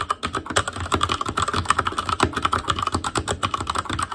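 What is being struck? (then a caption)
Mechanical keyboard with plastic keycaps. Fingertips type continuously on an Asus Claymore Core backlit mechanical keyboard with plastic keycaps, producing about 24 rapid, crisp keystrokes in a steady, uneven patter. Each press gives a sharp plasticky clack with a clear tone near 1.2 kHz and a light low thump, dying out almost instantly.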